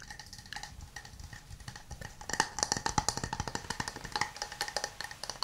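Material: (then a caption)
Wood. A hand-sized, hollow, empty wooden cup with an open rim is tapped with fingernails and fingertips in a quick, steady run of short, dry, resonant wood-block knocks. The taps ring around 900 Hz with bright clicky edges and die away almost instantly. They start soft and grow louder and sharper after about two seconds.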